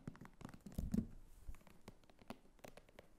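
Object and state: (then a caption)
Faux leather clutch tapped and scratched. Long nails scratch and tap the top edge and flap of a small red croc-embossed faux leather clutch standing on a table. The result is a series of quiet, dry taps and soft scratchy brushes, mostly low in tone. Each tap dies away almost at once.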